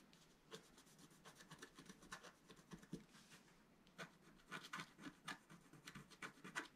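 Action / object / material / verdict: scrape / black-coated scratch art paper sheet scratched with a wooden stylus / coated paper / none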